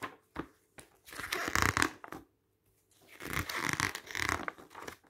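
Fingertips turn the pages of a glossy paper magazine resting on pink fabric, making a crisp, bright paper rustle and crinkle. Short taps and flicks come first, then two longer bursts of rustling with a brief quiet gap between them.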